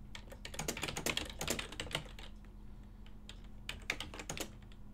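Continuous typing by fingertips on a full-size ergonomic silver and black plastic desktop keyboard with hollow key switches gives fast, irregular, bright, clacky keystrokes that ring out only briefly. The typing thins out in the middle before another quick burst of keys, all over a steady low hum.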